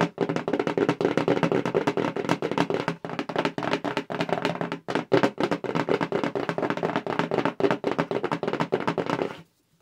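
Long pink acrylic nails tap rapidly on a hollow black cardboard subscription mailer box, which is tilted as it is tapped. The taps come in a dense, steady stream of short, dry, hollow knocks with a mid-pitched body and very little ring. They pause briefly around the five-second mark, then continue until stopping just before the end.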